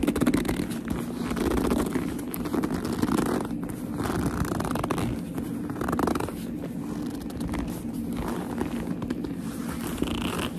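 Long nails grip and squeeze a hollow black leather purse, with some scratching across its surface. The sound is a steady run of soft squeaky creaks and rubbing, mostly low and mid in tone with little brightness, and holds an even level throughout.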